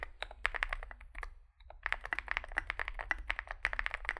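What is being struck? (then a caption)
Mechanical keyboard with plastic keycaps. Fingertips type continuously on a small 65% Zoom65 mechanical keyboard with a dark case and white and grey plastic keycaps. A rapid stream of short, bright plastic clacks fills the clip, broken by a brief pause near the middle, over a faint low hum.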